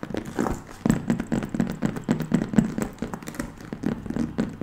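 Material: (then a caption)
Patent leather. Long nails and fingertips tap rapidly on the front panel of a hollow, burgundy, glossy patent leather handbag. The result is a fast, uneven stream of soft, dull, hollow taps and thuds with very short decay and no bright high end.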